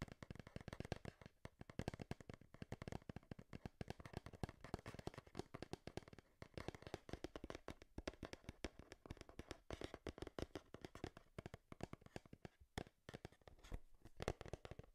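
Long nails tap rapidly on the front and side of a hand-sized, hollow, printed cardboard Game Boy retail box. The result is a quiet, dense stream of dry, hollow clicks and thuds. Each tap dies away almost instantly, with weight in the low end and little brightness.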